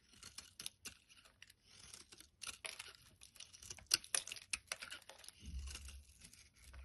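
A utility blade shaves flakes off the top edge of a solid orange bar of soap held in the hand. A quick series of quiet, crisp scraping strokes comes through with a bright, dry, papery texture and almost no ring. A soft low rumble joins near the end.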